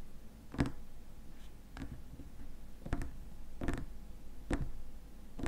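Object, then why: Small glass jar with plastic lid. Fingernails tap the rim of the white plastic lid and the glass sides of a small glass cream jar filled with cream. The result is a series of quiet, short, dull taps with brief bright clicks and little ring, spaced irregularly over a soft, steady background hiss.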